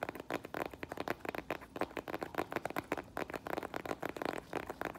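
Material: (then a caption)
Faux leather. Long nails tap and scratch the straps, buckle and sole of a rose-gold faux leather strappy flat sandal that is held up and then placed on the floor. The result is a quick run of light, crisp clicks and scratchy taps with very little low end.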